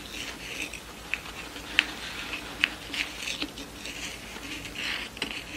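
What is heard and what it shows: A yellow pleated satin award rosette with a cardboard center and ribbon tails, lying on a wooden table, is tapped on its center disc and scratched across the pleats by long nails. Soft, bright scratching and rustling runs throughout, punctuated by about ten short, sharp, irregular taps that die away almost instantly.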